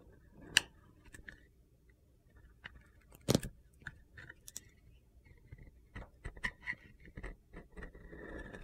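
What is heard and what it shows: A utility knife blade shaves the gold glitter coating off a small, solid white Ivory soap bar held in hand. Sharp, crisp scraping and carving sounds come in irregular bursts over quiet gaps, with thin, crunchy high-pitched edges and no speech.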